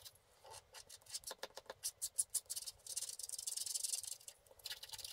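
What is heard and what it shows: A wooden stick scratches the lower area of a flat, black, wax-coated scratch art sheet lying on a table. Quiet, bright, dry scratching comes as a run of quick separate strokes, then a denser stretch of continuous rubbing, then a few more strokes. There is no low end.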